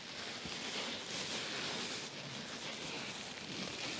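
Fingertips and nails scratch and press on a large, soft black foam pad sitting in a box liner. The result is a steady, broadband rustling hiss with most of its energy in the high range and no distinct hits.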